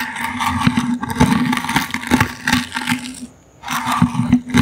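A small, hollow, brown woven wicker basket is held in the hand and scratched with the bristles of a toothbrush. The result is a dry, rasping scrape with a low hum around 240 Hz and bright crackling texture. The scraping pauses briefly near the end before resuming.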